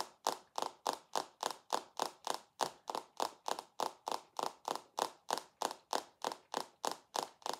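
A rectangular dark glass perfume bottle, held in one hand, is tapped with the long acrylic nails of the other hand. About 26 short, bright clicks land in a steady rhythm, each with a sharp glassy tick centered near 880 Hz and almost no ring or low end.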